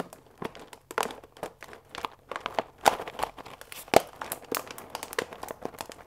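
A full paper bag of fusilli pasta with a plastic window is held upright and squeezed and crinkled with fingertips and nails. It gives irregular, quick bursts of dry crinkling and crackling over a faint hiss, with a few sharper, brighter crackles standing out near the middle.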